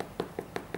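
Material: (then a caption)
Bread. Knuckles knock four times on the bottom of a flaxseed and bran whole wheat loaf, baked for 30 minutes and cooled for 30 minutes on a wire rack. Each knock is a short, dull, hollow tap centered around 430 Hz that dies away almost at once. The hollow sound shows the bread is fully baked through.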